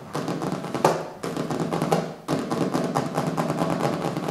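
Fingertips and nails tap on the colorful printed cover of a small, solid hardcover book resting on a wooden table. The taps are quick, dry and close-sounding, with a dull mid-range knock and a light clicky edge. They come in dense, uneven bursts with brief pauses between them.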